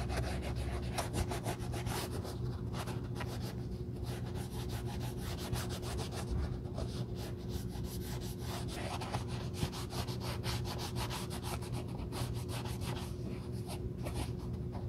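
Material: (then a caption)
Leather. A navy cloth over gloved fingers rubs the leather heel counter and collar of a black leather sneaker. Steady soft rubbing and scuffing strokes run throughout, over a constant low, tonal hum that may be background music.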